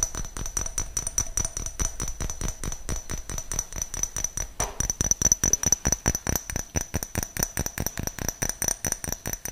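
A small, clear, hollow glass jar that appears empty is held close up and tapped and scratched with fingernails. The result is a fast, uneven run of dozens of crisp, dry clicks, each with a bright, high glassy tone that dies away almost instantly. A brief scratch breaks in midway before the tapping continues.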